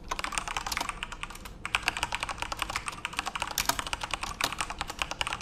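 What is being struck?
Mechanical keyboard with plastic keycaps.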